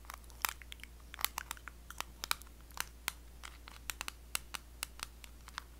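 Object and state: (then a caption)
Small metal cream tin. Long blue acrylic nails tap and scratch the lid and rim of a small, closed, round blue metal Nivea cream tin. A rapid, uneven series of sharp, bright clicks and ticks rings around 1.2 kHz and dies out almost instantly, with soft scratchy rasps in between. A steady low hum runs underneath throughout.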